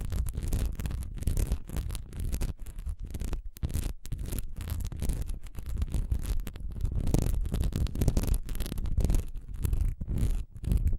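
A solid, honeycomb-textured wax pillar candle lying horizontally has its diamond-textured surface scratched fast with long nails. The result is a dense, continuous run of rapid scratching with a deep, muffled low body and faint bright edges. It pauses in brief gaps before resuming.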